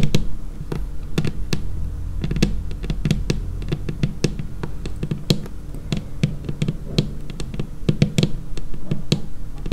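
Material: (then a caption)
Laminate. Long painted nails on both hands tap a large, solid, dark laminated tabletop in quick, irregular bursts. Each tap is a short, dry click with a bright edge over a low, hollow thud pitched around 145 Hz. The taps die away almost instantly over a steady low rumble.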